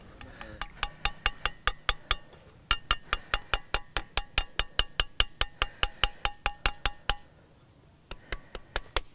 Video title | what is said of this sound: Gunung Padang - Megalithic Pyramid in Prehistoric Java 22,000 BC - Megalithomania | if you tap it you tap it you get the sound